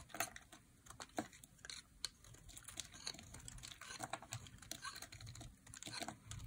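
A metal blade carves slices off a solid, dry, light green bar of soap held in the hand. The result is a quiet, rapid run of crisp, dry clicks and scraping crackles, bright and short with almost no ring.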